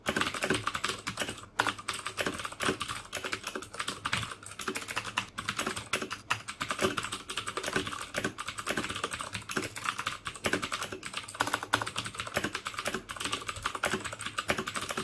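Fingertips type steadily on the keycaps of a black plastic mechanical keyboard with clicky Cherry MX Blue switches. A dense, fast stream of sharp, bright clicks with very short decay runs continuously with only brief pauses.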